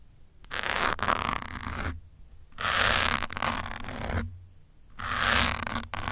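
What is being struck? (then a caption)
Foam microphone windscreen. A metal pin scratches across the top of a grey foam windscreen on a black microphone. It makes three long bursts of close, gritty, rasping scratching that is bright across the upper range, with a faint low rumble underneath. Short quiet gaps separate the bursts.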